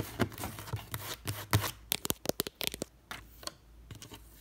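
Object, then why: Wooden trunk with metal studs. A long red fingernail taps and scratches an old, weathered wooden trunk fitted with metal studs and rivets. Broad, rasping scratches with a low thump open the clip, followed by a quick run of sharp, bright, dry taps that die away almost instantly. Softer scratching and a few lighter taps close it out.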